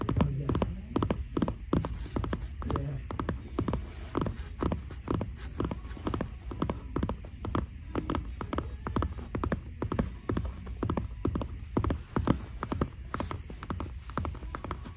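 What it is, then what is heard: Leather loafer insole. A brown leather loafer is held in the hand while the Guess-branded insole inside is scratched and tapped with long dark nails. Quick, dull, low-heavy taps repeat throughout, mixed with soft scratching and a faint low hum. Each tap dies away almost instantly.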